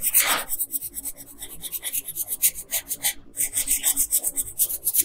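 An orange wooden colored pencil rubs and scratches across the face area of a thin paper coloring sheet lying flat on a table. It makes quick, repeated dry scratchy strokes, bright and papery, with a short pause midway.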